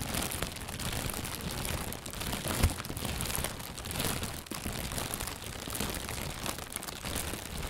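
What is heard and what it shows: An inflated, hollow white plastic bag, held from below, is squeezed and crinkled with the hands. It produces a continuous, dense rustling and crinkling that spreads from low rumble up to bright crackle, with one sharper, louder crunch partway through.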